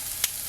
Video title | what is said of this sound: Healthy2dollareats version of the Cheesesteak, inspired by Texadelphia, thanks for the great times | check out how crispy these chips are. Can you hear it?